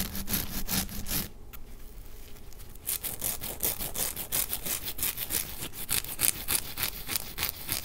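A white nonwoven synthetic scour pad loaded with blue soap starts on a counter, then is held in one hand while the fingertips and nails of the other scratch its fibrous surface. Rapid, irregular, bright scratchy strokes with a low rumble underneath dip into a quieter stretch for about a second and a half, then resume with denser, louder scratching to the end.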